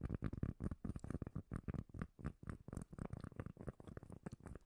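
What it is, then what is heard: Cork lid. A solid, palm-sized round cork lid held near the microphone is scratched and tapped with long nails. The result is a rapid, uneven run of deep, muffled thumps mixed with soft scratchy rustles. The sound is heavy in the bass, with almost nothing bright on top and no ringing after each hit.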